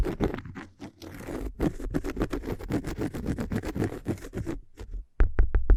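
Fingers scratch across a cork surface, apparently a cork coaster, making a dense run of short, dry, rasping scrapes with a low thump underneath. After a brief pause near the end, a few sharper, brighter scratches follow.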